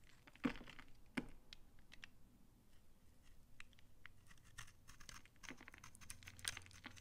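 A utility knife shaves dry curls off a solid brown laundry soap bar embossed "Банное", held in the hand. Quiet, irregular dry scraping and crunchy crackles fill the clip, with a few sharper cuts standing out near the start and end.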